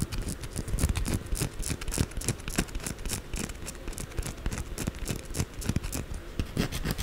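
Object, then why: Solid soap bar. Long blue acrylic nails quickly scratch the sides and corners of a white solid bar of soap held upright. The result is a fast, uneven stream of dry, crackly scratches with soft low thuds underneath and bright, crisp edges. The scratches die away almost instantly and continue for the full seven seconds without pause.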